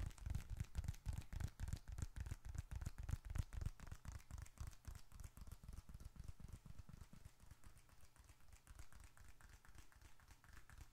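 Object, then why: Leather bifold wallet with bills inside. A small dark red leather bifold wallet with bills and receipts inside is held upright in one hand and tapped rapidly with the fingertips and short nails of the other hand. The result is a quick, somewhat uneven stream of soft, dull, low thuds with faint bright clicks. The taps are louder during the first few seconds and then grow quieter.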